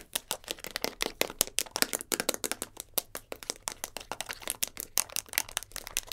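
Long blue nails quickly tap and scratch a small, round, translucent plastic tub holding a roll of tape, held in the hands. Dozens of rapid, sharp, bright clicks and scrapes follow one another with almost no ring and very little low end.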